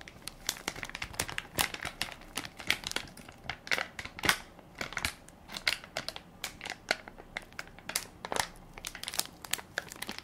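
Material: Plastic film.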